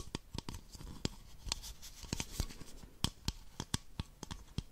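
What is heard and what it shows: Long nails tap the sides of an empty, hollow, clear plastic baby bottle in a quick, irregular series of sharp clicks. The hits are brief and bright with a low hollow thump beneath them, and faint scratchy rustling fills the gaps.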